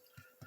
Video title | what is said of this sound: The Best Bread on Youtube + kneading tutorial | And we're thumping the underside again to hear that solid thump, which it got.